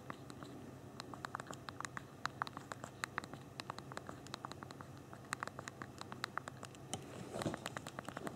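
Thumbs type rapidly on the backlit physical plastic keyboard of a small BlackBerry Q10 phone. Dozens of short, sharp, bright key clicks come in quick, uneven bursts over a faint low background hum. A denser, slightly louder flurry of taps arrives near the end.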